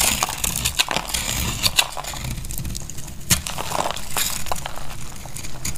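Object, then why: Bar of soap cut with a blade. A utility knife blade cuts and scrapes brittle curls and flakes off a dry, solid purple bar of soap held in the hand. The sound is a continuous crisp, crunchy crackling with sharp, bright snaps and clicks over a low rumble, each cut short and dry with no ring.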